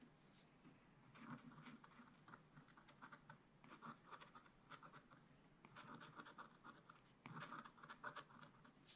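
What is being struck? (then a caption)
Coated scratch-art paper scratched with a wooden stylus. A wooden stylus scratches dots and lines into the giraffe drawing on a flat, black-coated scratch-art page in a spiral-bound book. Quiet, dry, papery scratching comes in dense bursts of short strokes, centered in the midrange with a faint bright edge. Brief pauses separate the groups, and the last bursts are slightly louder.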